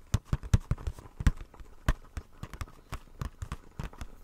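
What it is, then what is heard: Plastic blister package tapped. A small, hollow retail blister pack, a clear plastic shell on a white printed card, is held in the hands and tapped and scratched with fingertips and nails. Around nineteen quick, irregular taps sound as dull, low, hollow thuds that stop almost at once, with faint bright scratching between them.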